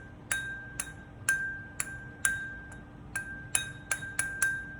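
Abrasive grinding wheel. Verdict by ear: Sound.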